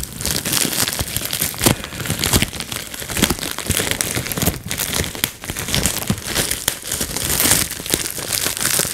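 A clear plastic bubble wrap sheet is held in the hands as fingers squeeze and pop its bubbles. Sharp bright pops and crackles sound over steady crinkling of the plastic sheet, continuing through the clip.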